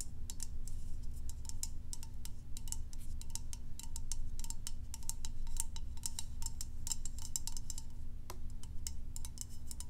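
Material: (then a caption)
Plastic. A medium white hollow plastic lotion bottle with a dark cap, held in one hand, is tapped rapidly with long acrylic nails. It gives a steady stream of sharp, clicky, typing-like taps with bright highs and a faint tone near 1 kHz. Under them runs a constant low hum.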